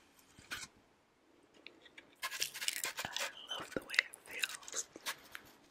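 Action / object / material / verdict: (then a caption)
scrape / floral foam block / floral foam / none. A solid green floral foam brick with small dents, held close to the mic, is rubbed and scratched with fingertips and nails. A brief dry scratch is followed by a quiet pause, then a dense run of bright, crackly, irregular scraping and crunching textures. The sound is thin and high with almost no low end.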